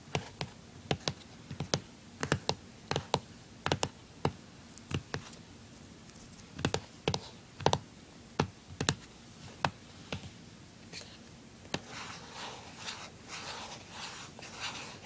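Fingertips and nails tap on the top lid of a closed, small, hollow blue plastic handheld game console, making a run of sharp, dry, separate clicks with a low hollow knock beneath them. Over the last few seconds the tapping gives way to softer, continuous scratching with a bright, hissy texture.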